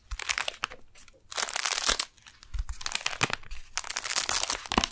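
Long nails tap and scratch the surface of a flat brown kraft-paper retail package with a clear window, a folded beeswax wrap inside, held upright in both hands. Bright, crinkly scratching and papery crunches come in dense bursts separated by brief quieter pauses, with a few sharper taps standing out.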